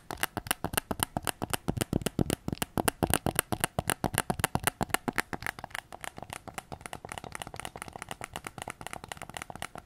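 Fingertips and nails tap rapidly on the back of a white PS5 controller with a hollow plastic shell, which is partly held behind the recorder. The result is a fast, uneven run of short, dry clicks and knocks with no ring, thicker and louder in the first half and lighter and quieter toward the end.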